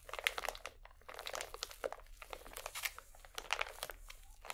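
A small, full pack of cotton swabs in thin plastic film is crumpled and squeezed between both hands while fingernails scratch the wrapper. The result is a quiet, dense run of bright crinkles and sharp crackling bursts that die away almost instantly, with very little low end.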